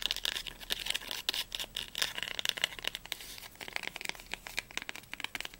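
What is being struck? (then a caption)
Cloth-bound hardcover book spine. Long nails rapidly tap and scratch the spine of a small blue cloth-bound hardcover Heine volume. Crisp, bright clicks with no ring come in quick, uneven bursts, mixed with dry scratching. The sound is high-pitched with almost no low end.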